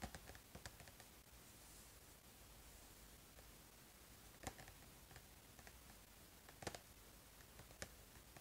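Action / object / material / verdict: tap / small cardboard box / cardboard / none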